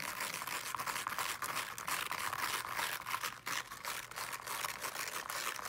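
Long nails scratch quickly across the small teal woven fabric cover of a solid-bodied small speaker, partly in close-up. The result is a dense, dry, crinkly rasp that is bright and airy above about 1 kHz with almost no low end, running steadily with brief dips in level.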